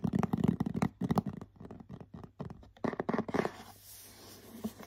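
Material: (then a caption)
Cardboard. Short nails scratch and tap the glittery printed front of a medium cardboard bath set gift box, giving quick, dry, uneven taps and scrapes with little ring. It ends in a softer, hissy brushing sound.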